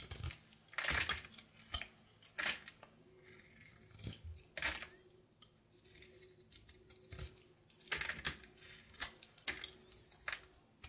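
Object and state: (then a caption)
Soap bar being carved. A red-patterned kitchen knife scrapes and carves a solid bar of soap, painted with a butterfly design over a light blue layer, held in the palm. Crisp, bright scraping and cutting strokes come in short bursts, with quiet pauses between them, as soap shavings fall away.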